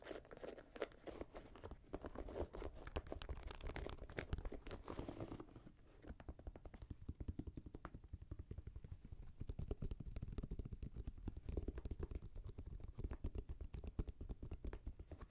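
Nails scratch and rub the suede and mesh upper of a grey Jordan Flight 45 high-top sneaker, hollow and empty, resting on the hands and lap. Dense, rapid crunchy scrapes and crinkly strokes run throughout, mostly low and dull in tone, with a denser, noisier stretch in the first five seconds before settling into steady quick scratching.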